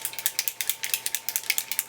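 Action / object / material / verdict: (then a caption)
shake / metal aerosol can of foam foundation / metal / none. A can of Maybelline Dream Nude Airfoam, an air-infused foam foundation with SPF 16 sunscreen, is shaken by hand. It makes a rapid run of about 13 bright, dry rattling clicks, almost all high-pitched with no low end, each dying out almost instantly. A faint steady tone sits underneath.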